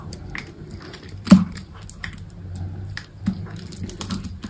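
A utility knife shaves and slices the edge of a solid green bar of soap held in the hand, sending thin flakes falling off. Soft, dry scraping ticks sit over a quiet low rumble, with one sharper, louder cut standing out early and a smaller one later.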